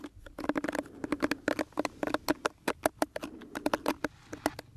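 Fingertips and nails scratch and rub across the bristles of a small pink plastic detangling hairbrush held close to the microphone. A rapid, uneven series of short, dry scratching clicks and rustles follows, with almost no ring after each stroke.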